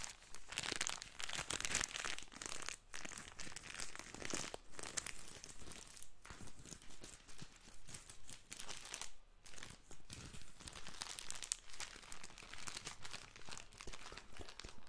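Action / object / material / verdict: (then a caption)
scrape / plastic-wrapped tissue packet / plastic film / none. A small plastic-wrapped tissue pack is crinkled and squeezed with the fingers close to the microphone. The result is a continuous, dense run of bright, crackly crinkles lasting about 15 seconds, with brief dips between squeezes.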